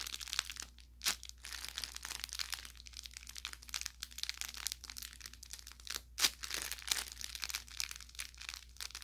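Fingers squeeze and crumple the tip of a soft-stuffed orange velour fabric carrot toy with crinkle filling. The result is a steady run of bright, crisp crackles and crinkles, with two sharper pops standing out near the one-second and six-second marks. A faint, steady low hum sits underneath.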